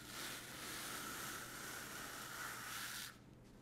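A small green-and-white brush is rubbed across a large, soft piece of black woven fabric with a white grid pattern, laid flat on a table and held still by one hand. It makes a steady, bright, hissy brushing sound with a slight tonal edge in the upper mids, lasting about three seconds before stopping abruptly into a quiet background.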